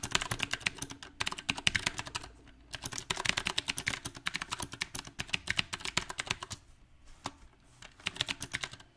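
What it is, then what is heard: Mechanical keyboard, typing. Fingertips type on a mechanical keyboard with round plastic typewriter-style keycaps on a silver metal frame. Quick bursts of bright, crisp key taps with very short decay come in an uneven rhythm, broken by brief pauses near the middle and a longer lull before a final flurry.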